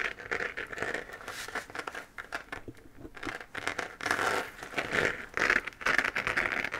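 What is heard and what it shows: Long painted nails scratch across a hollow, textured 3D-printed plastic moon-lamp sphere glowing pink while it is held. The result is a dry, crinkly scratching with bright, hissy edges, coming in irregular quick strokes and bursts that swell louder in the second half.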